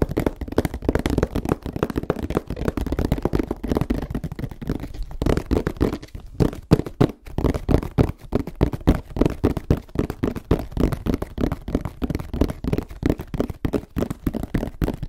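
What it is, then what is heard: Tapped box. A box is tapped quickly and unevenly for about fifteen seconds. It makes a dense stream of short, dull, low-pitched knocks with almost no ring and little brightness.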